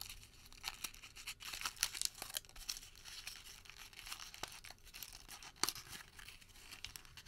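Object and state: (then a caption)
Crumpled thermal paper receipt. Fingertips squeeze and crinkle a small crumpled ball of thin thermal paper receipt, then partly open it. The result is a quiet, dense stream of bright, crisp crackles and tearing-like rustles with almost no low end.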